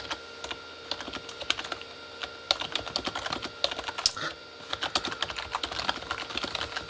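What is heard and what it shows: Both hands type with their fingertips on a full-size Corsair K35 plastic mechanical keyboard with red-backlit plastic keys. The keystrokes are quick, bright, clicky taps that stop almost instantly, coming in uneven bursts with brief pauses over a faint steady tone.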